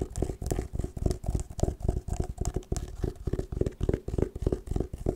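Long nails tap and scratch on an oval, hollow hard sunglasses case covered in patterned woven fabric and held upright. The result is a rapid, irregular run of dull, low, hollow knocks with very short decay, mixed with soft scratchy rustling in between.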